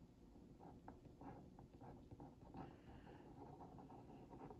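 A wooden skewer tip is traced over a printed cookie on a hollow Oreo Mini cardboard box held in one hand. The result is quiet, dry scratching in short, uneven strokes, with papery mid-range rasps over a soft, hollow low body.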